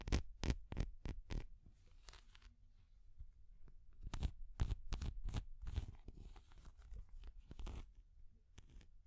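A small, translucent orange hard plastic cat figure is held in both hands while long nails scratch and tap it. A burst of quick, dry, bright clicks opens the clip, followed by softer scratchy rasping, then a second cluster of sharp taps and scrapes. Each hit dies away almost instantly over a faint low rumble.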